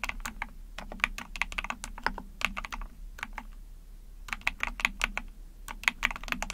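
Rapid key presses on a small backlit 44-key Epomaker TH40 mechanical keyboard with an ABS plastic case, PC plate and pink/white keycaps, typed with long painted nails and fingertips. Bright, short plastic clacks come in quick bursts, with a brief pause in the middle before the typing resumes.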